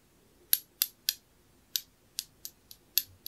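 A small, round, dark blue glossy glazed ceramic knob held in the fingers is tapped nine times with a thin metal pick. Each tap is a sharp, bright, high-pitched click that dies away almost instantly, and the taps come at an uneven pace.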